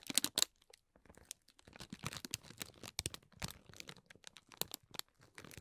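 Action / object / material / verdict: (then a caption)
scrape / tissue-paper honeycomb ball / tissue paper / none. Fingertips and nails press, rub and scratch the folded cells of a hollow green tissue-paper honeycomb ball. The result is a quiet, dense run of bright, crisp crinkles and scratchy rustles, with many short crackling bursts that die away instantly.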